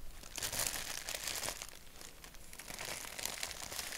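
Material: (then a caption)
Paper. Fingertips rub and crinkle a thin white paper napkin with a black doodle print. A dense, continuous, bright crackling and rustling runs through the clip, with brief louder bursts and little low end.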